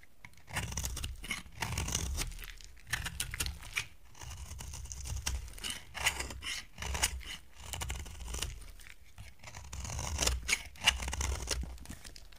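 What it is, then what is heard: Dry bar soap being carved. A box cutter blade scrapes and carves flakes off a partly carved, solid, dry brown gold-coated bar soap held in the hand. Repeated crisp, crunchy scraping strokes come in bursts, with bright, high crackle over a low rumble. Each stroke stops short with almost no ring.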